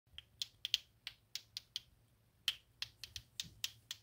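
Two small solid pink plastic clacker balls on a string are swung up and down by hand so they knock against each other, making 15 sharp, bright clacks over about four seconds. Each click is very short and dry, centered near 3.1 kHz, with an uneven rhythm and no low-end body.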